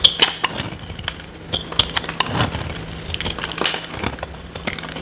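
A woman with long nails holds a dry, solid oval purple soap bar in her hand and carves and scrapes it with a small metal blade, making shavings flake off. The clip is full of crisp, bright scraping and brittle crunching clicks with quick, short decays, over a faint steady low hum.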